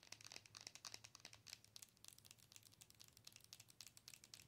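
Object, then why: Plastic owl night light. A hollow, glowing plastic owl night light is held in both hands while long nails tap and scratch its front. Some thirty quick, quiet, bright clicks and crinkly scratches follow one another over a faint low hum. Each tap dies away almost at once.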